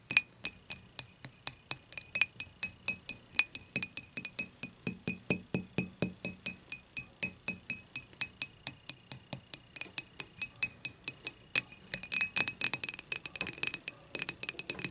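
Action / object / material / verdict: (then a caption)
tap / thick glass beer mug / glass / none. Long matte nails tap the thick glass handle and body of a clear glass beer mug lying on its side. A steady run of sharp, bright clinks with very short ring gives way to a faster, denser flurry of taps near the end.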